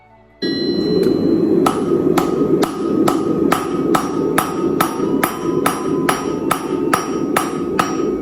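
A hammer strikes a Chinese-style turtle anvil with a hollow-bottomed cast iron body and a tool steel top in a quick, steady series of blows over a constant low rumble. Each hit is a sharp, dull clank with a faint tone near 1.3 kHz that dies away almost immediately. The anvil sounds dull rather than ringing.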